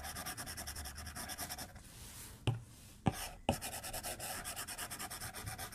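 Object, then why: Tablet glass screen and plastic stylus. A white plastic stylus tip strokes the glass screen of a tablet lying flat on a desk while drawing, making quick, bright, scratchy strokes in a steady rhythm. Midway the stroking pauses for a quiet stretch with three sharp taps on the glass, then the rapid scratching resumes.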